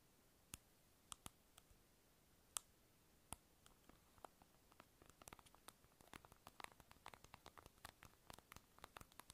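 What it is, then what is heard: Plastic lip balm container. A small, hollow, light-blue round plastic lip balm egg is held in the hand and tapped with long acrylic nails. Quiet, sharp, bright clicks with almost no ring start out sparse and spaced apart, then speed up into a dense run of quick tapping over a soft, steady hiss.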